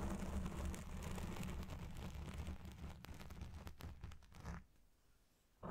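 Fingertips and nails rub and scratch a black foam windscreen dome on a Blue Yeti Pro microphone, partly covering it. This makes a dense, muffled rustling and scraping with a heavy low rumble and occasional sharper crackles. The sound fades to near silence after about four and a half seconds, then a brief burst returns at the very end.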